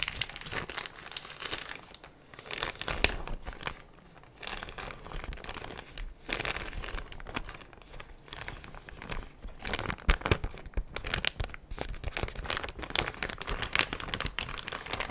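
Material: Plastic.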